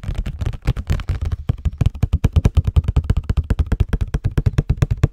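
A hollow cardboard Scotties tissue box is turned in the hands while fingernails tap and scratch it. About thirty-five quick, dull, hollow taps follow one another at an uneven, rapid pace. They are deep and muffled, with little ring, and faint scratchy texture runs between them.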